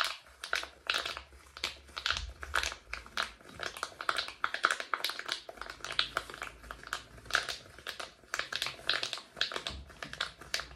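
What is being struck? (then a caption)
Silicone pop-it fidget toy. Fingertips and thumbs continuously press and pop the hollow bubbles of a palm-sized rainbow silicone pop-it fidget toy held near the microphone. A rapid, uneven stream of short, crisp pops and soft crinkly snaps comes through, bright and dry with a tonal click around 1.4 kHz, almost no low end, and no ring after each pop.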